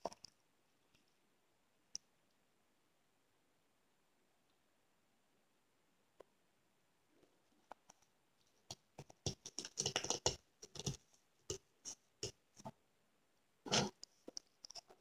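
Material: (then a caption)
Foam. A frozen yellow foam kitchen sponge, scored into cubes and crusted with ice, is held between the fingers while the fingertips and nails press and crunch the icy foam. After a mostly quiet first half with a few faint isolated clicks, dense bursts of short, crisp, bright crackles and crunches follow, each dying away almost instantly.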